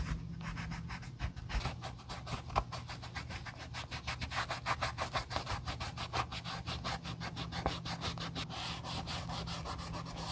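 A wool dauber held on a clip rubs dye over the heel and side panels of an empty brown leather Josef Seibel sandal during refurbishing. Quick, steady back-and-forth strokes make a dry, bright scratching rhythm over a low, constant hum.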